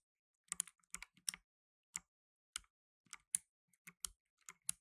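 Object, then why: Plastic mechanical keyboard keys. Blue nitrile-gloved fingertips type on a black tenkeyless mechanical keyboard with plastic keycaps. About fourteen sharp, bright clicks come in small irregular clusters with quiet gaps between them, each dying away almost instantly, with a faint low thump under the crisp high clatter.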